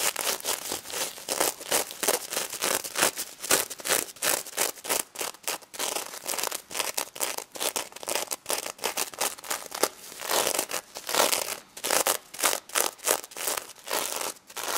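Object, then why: Plush toy covered in plastic sequins. Long nails scratch across the plastic sequins of a pink stuffed pig toy with a paper tag partly visible, with some tapping. The result is a steady stream of quick, bright, crisp rustling and clicking bursts with almost no low end and very short decay.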